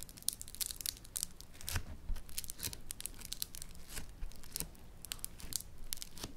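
A mound of yellow Floam foam-bead clay is pressed flat with fingertips and then folded, making the beads crackle. Dense, bright, sharp crackles and pops sound throughout in quick clusters, like tearing or crinkling, over a faint low rumble.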